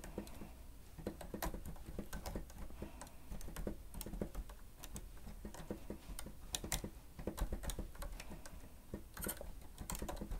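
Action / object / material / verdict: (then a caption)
tap / plastic stenotype keyboard / plastic / none. Fingertips of both hands press and tap the keys of a grey plastic stenotype keyboard with a hollow housing while typing. The result is a steady stream of quick, dry plastic clicks and taps with very short decay over a low, constant hum.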